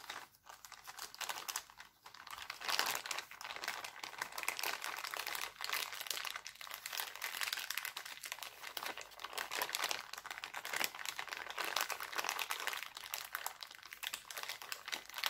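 Hands stretch a thin, clear, empty heart-printed cellophane bag, then crumple and crinkle it. The result is a dense, continuous crackle of bright, sharp snaps with almost no low end, starting softly and then holding a steady busy rustle throughout.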